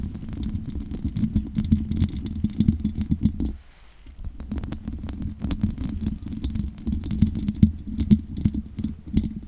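Long nails scratch over the top and sides of a large condenser microphone's hollow metal mesh grille, making a dense, rasping scrape full of rapid clicks and ticks over a low, resonant rumble. The scratching briefly drops to near silence a little before the four-second mark, then resumes just as busy until the end.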